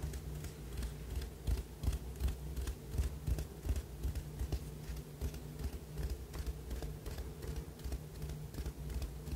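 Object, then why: Ribbed ceramic cup. A small, hollow white ribbed ceramic cup or jar, held in both hands in front of a fluffy microphone, is tapped and scratched on its ribbed outer wall and rim with fingertips and short nails. The result is a steady run of quick, dry taps with very short ring and faint scratchy texture, over a constant low hum.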